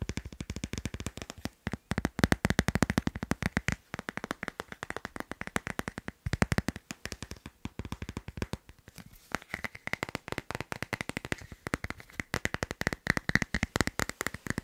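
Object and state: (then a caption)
Plastic phone case on a smartphone. Fingernails tap rapidly and lightly scratch on the back of a hand-sized teal patterned hard plastic phone case fitted on a smartphone. The taps are quick, dry, clicky bursts with almost no ring, coming in dense runs separated by brief pauses, with a faint scratchy texture between them.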